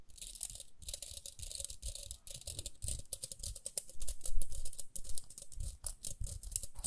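A small round pink plastic hairbrush, held in both hands, is scratched and tapped on its rim and bristles with long nails. Quick, irregular bursts of crisp, bright scratching and clicking come over soft low thumps, with each tap dying away almost at once.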